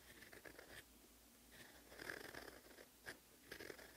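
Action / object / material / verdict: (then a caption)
scrape / paper sheet scratched by a steel pen nib / paper / none. A rose-gold steel fountain pen nib writes Korean handwriting in black ink on a sheet of lined cream writing paper resting on a desk. Quiet, dry scratching strokes come in bursts with a bright, papery rasp, separated by short near-silent pauses.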